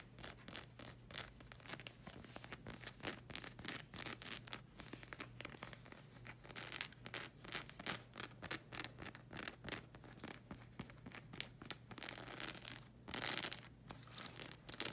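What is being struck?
Rubber slide sandal sole.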